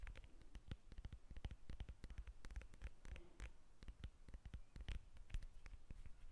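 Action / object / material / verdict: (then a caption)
tap / whole lemon, textured peel / citrus peel / none. Long red acrylic nails scratch and tap the textured peel of a whole, solid yellow lemon held in both hands. The result is a quiet, rapid run of dry, sharp clicks with soft low thumps and faint scratchy rustling in between, each tap dying away almost instantly.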